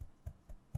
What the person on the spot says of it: Eu vou dar uma chacoalhada, vocês vão ver que ele tá completamente solto